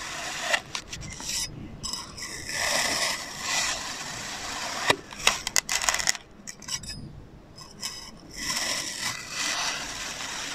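A metal knife blade slices repeated diagonal cuts through a palm-sized solid blue and orange kinetic sand figure, including its orange visor. Bright, gritty scraping swells rise and fade with each pass, broken by a cluster of sharp, crisp crunches midway through.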